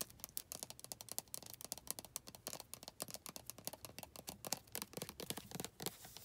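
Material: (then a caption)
Plastic. Long red nails scratch and tap along the body of a white plastic lotion bottle with a printed back label and barcode. The result is a rapid, quiet series of dry, bright clicks and scratchy rasps with almost no ring.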